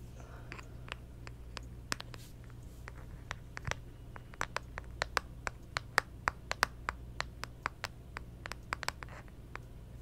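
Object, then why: Smartphone in plastic case with pop socket. Long acrylic nails tap and scratch the round plastic pop socket and the back of a clear plastic case on a small hollow handheld smartphone, held back side up. A rapid, uneven series of short, bright clicks rises over a steady low hum, with faint scratching between taps. Each tap dies away almost instantly.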